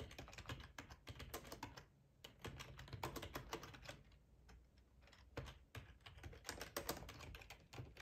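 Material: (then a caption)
Plastic. Fingertips type on the keys of a black plastic ergonomic split keyboard with a hollow housing, resting on a cloth tablecloth. Rapid bursts of soft, hollow clicks and taps with a dull low thump run throughout, each tap dying away almost at once, with brief lulls around 2 and 4.5 seconds.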